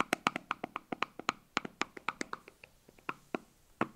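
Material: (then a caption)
Plastic. Fingernails tap and scratch the blue lid and labelled body of a small, hollow white plastic tub as it is turned in the hands. About 22 quick, dry, bright clicks come in an uneven rhythm, each with a hollow knock near 1.2 kHz that dies away almost at once. The taps soften somewhat toward the end, with faint scratching between them.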